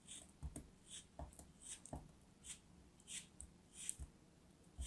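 A solid molded block of orange kinetic sand, held in a hand with long nails, is sliced with a small dark knife. About ten quiet, dry cuts give crumbling, scratchy bursts of bright grainy hiss with soft low thuds. Each sound stops almost at once.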